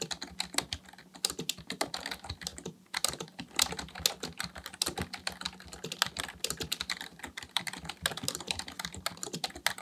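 Fingertips of both hands type continuously on a black plastic full-size membrane keyboard, a Dell KB1421, resting on a desk. The hollow housing gives a rapid, uneven run of short, bright plastic clicks and taps. Each keystroke stops dead, with very little low end.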